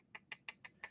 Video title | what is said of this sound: Respiratory System | as I tap it there you might be able to hear that's mostly bony